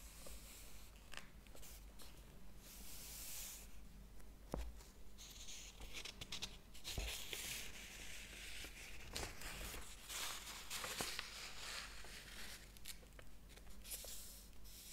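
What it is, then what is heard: Paper book pages being flipped. Fingers rub and flip the paper pages of a large, thick hardcover book lying open on a table. The result is quiet, bright, papery rustling and crinkling with scattered sharp flips. A steady low hum runs underneath.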